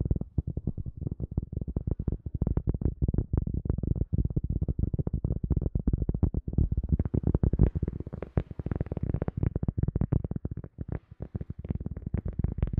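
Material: Cork.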